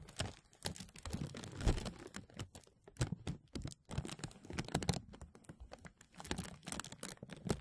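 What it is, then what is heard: Thin plastic bag crinkling. A thin translucent plastic bag over a mesh microphone is rubbed along its sides by hands, then pinched at the top with fingertips, producing dense crinkling. It sounds as a rapid run of short, dry crackles and crunches with a heavy low-end rumble from the contact, coming in bursts with brief quiet gaps between.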